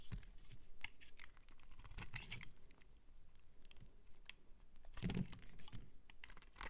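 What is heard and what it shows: A metal utility-knife blade scrapes and shaves curls off the edge and surface of a solid, palm-sized white bar of soap held in the hand. The result is a run of crisp, crunchy scraping strokes with short bright edges over a low, muffled body, swelling into louder bursts near the start, middle and end.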